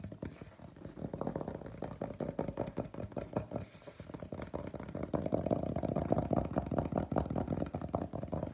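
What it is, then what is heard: Paper gift bag. Fingernails and fingertips of both hands scratch and tap the flat face of a large, hollow, printed paper gift bag with a peacock design. Rapid, irregular papery taps and scrapes with a dull, low-mid body die away almost at once, growing louder and denser after a brief lull partway through. A faint hum sits underneath.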